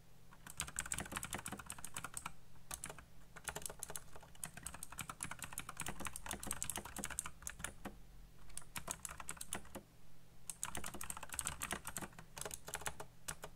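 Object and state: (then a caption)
Plastic mechanical keyboard. Fingertips type fast on a black plastic backlit mechanical keyboard, clicking the keys. Rapid, bright, crisp clicks come in dense bursts separated by brief pauses, over a steady low hum.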